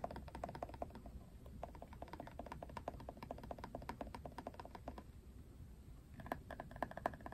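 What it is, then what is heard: Plastic paddle hairbrush. Fingernails rapidly tap and scratch the plastic handle and back of a Wet Brush plastic paddle hairbrush held in both hands. The result is a dense run of short, dry clicks over a low, steady rumble, with a faint pitched ring on some taps. The tapping thins out briefly near the end, then picks up again.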